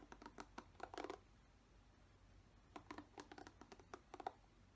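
A single fingernail strums and scratches the bristles of a black plastic paddle hairbrush. Short, dry plucking ticks come in two quick clusters separated by a quiet pause of about a second and a half. Each tick is soft and midrange and dies away almost instantly.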